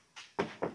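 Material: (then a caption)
Plastic. Knocks on a Smart Fortwo's body panel, a plastic or fiber panel rather than the steel frame, give three short hollow thunks. The first tap is faint and the next two are louder, each dying away quickly with a dull midrange tone.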